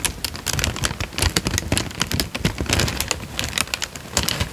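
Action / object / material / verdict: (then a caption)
scrape / thin paper sheet / paper / none. A thin, light-brown, creased paper sheet is held in both hands while the fingertips crinkle and fold it. A dense, steady stream of short, dry crackles with bright highs is heard, along with soft low rustling thumps underneath.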